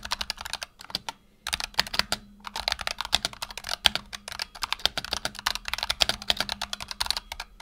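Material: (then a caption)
Plastic. Fingertips of both hands rapidly type on a black tenkeyless Razer Huntsman Tournament Edition mechanical keyboard with PBT plastic keycaps and optical switches, resting on a desk mat. A fast, steady stream of short, bright clacks, each dying away almost at once, pauses briefly near the start before continuing over a faint low hum.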